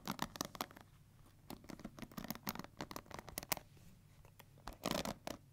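Long nails and fingertips scratch and strum the plastic bristles of a pink plastic paddle hair brush, its bristle side facing the hands. A quick, irregular series of short, dry, crackly scratches and flicks comes in bright, clustered bursts, with quieter stretches between.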